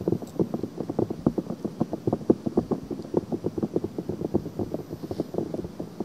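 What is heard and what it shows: Long painted fingernails scratch quickly at the rim of a pink soft silicone ear with a hollow ear canal, fitted on a black binaural microphone. It makes a dense, fast run of short, dry scratching strokes with a soft low-mid body and almost no high end.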